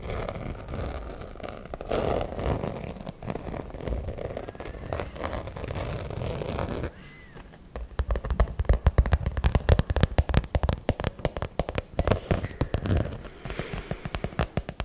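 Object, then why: Glitter-coated fabric zip pouch. Long manicured nails scratch and tap the rough glitter surface of a small, soft-sided fuchsia glitter-coated cosmetic pouch with a zipper, held close to the mic. A steady, close, low-heavy scratching rustle runs for the first half. It then breaks into dense, rapid crackling taps that pop sharply and die out at once.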